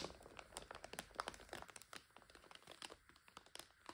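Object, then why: Plastic bag of dry egg noodles. Hands tilt and turn a full plastic bag of dry egg noodles, making the plastic crinkle. The clip is a continuous run of sharp, bright crackles and rustles with quick, dry snaps and little low end.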